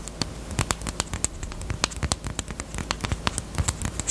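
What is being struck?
Small hard plastic chapstick case.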